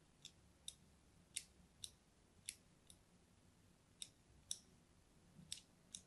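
A hand-held purple-and-white striped solid bar soap is scored with a small metal blade, making ten short, crisp scratch cuts. Each cut is a quiet, bright, dry tick that dies away almost instantly, with faint background hiss between the strokes.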